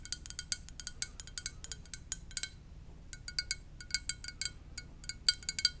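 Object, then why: Ceramic mug. A ceramic mug shaped like a VW van is tapped gently with the fingers. Many quick, bright clinks come in bursts, separated by short pauses, and each one dies away almost instantly over a faint low hum.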